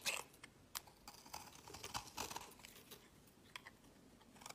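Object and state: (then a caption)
Bar soap being shaved. A utility knife blade shaves pale curls from a solid translucent orange soap bar held in the fingers, with a second bar lying in the background. A quiet series of short, bright scraping crunches follows, each stroke crisp and dry with little low end and almost no ring.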